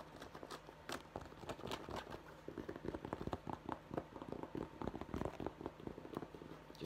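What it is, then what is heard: Fabric baseball cap. A navy fabric Dallas baseball cap with an embroidered skyline is held in both hands while fingernails scratch its fabric crown and raised embroidery. The result is a quiet, continuous run of rapid, irregular dry scratches with short crackly transients and almost no ring.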